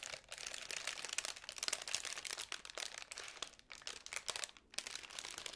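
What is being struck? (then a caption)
Tissue paper honeycomb ball. Long pink nails scratch and fiddle with the folds of a small, hollow magenta tissue paper honeycomb ball with white card ends. The result is a dense, continuous run of dry, bright crinkling and crunching with no low end and only a couple of brief pauses.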